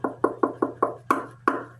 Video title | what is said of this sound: My First Soprano Uke: Amahi Soprano review. Very rare | It really gives it a hollow sound. Listen to it. That echoes.